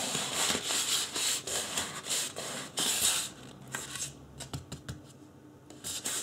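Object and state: Styrofoam mannequin head being rubbed.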